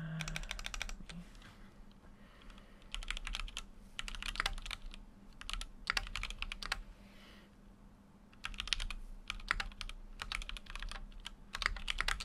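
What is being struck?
Mechanical keyboard, aluminium case with plastic keycaps.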